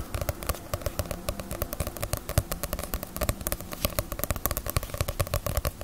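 A small, solid Bleach paperback manga volume with a glossy paper cover, partly hidden behind the microphone, is tapped on its cover with fingernails. Quick, dry, bright clicks come in a steady, dense stream, each dying away almost instantly, over a constant low hum.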